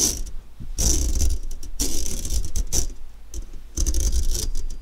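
A metal fork scratches back and forth across an empty, medium-sized round stainless steel wire-mesh kitchen strainer lying in front of the microphone. Bursts of bright, raspy metallic scraping come in repeated strokes over a steady low rumble, sounding gritty and ratchet-like.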